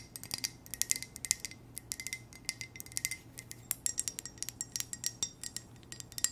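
A hollow, empty black ceramic coffee mug with white text is tapped with long nails in a quick, continuous flurry of light, bright clicks. Each tap has a short, high glassy ring that dies away almost at once, over a quiet low hum.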